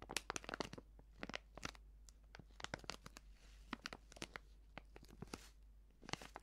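Fingers crinkle and fold the top edge of a filled, medium white Prix Garantie plastic seasoning bag. The result is a quick, dense run of sharp, bright crackles and crunchy snaps, each dying away almost instantly over a faint low hum.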